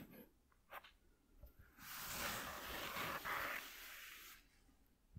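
Short fingernails scratch near the edges of a flat white corrugated cardboard piece lying on a dark cloth. After a few faint scrapes, a steady, hissy rasping scratch builds and holds for about two and a half seconds before stopping, leaving near silence.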